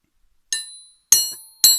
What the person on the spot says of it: c'est pas facile à faire sonner avec une seule main. Parce que bon, normalement, c'est de l'acier forgé.